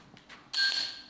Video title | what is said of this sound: Titleist GT Driver Fitting! | if you drop it on the table ... you can hear that metallic sound